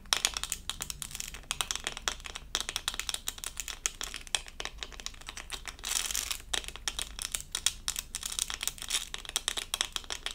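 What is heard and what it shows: A small, flat, doll-shaped diamond-painting sticker covered in tiny plastic acrylic rhinestones is held up in both hands and tapped and scratched with long purple acrylic nails. Dense, rapid, bright clicks and scratchy rasps run continuously, with a brief smoother scratching stretch near the six-second mark.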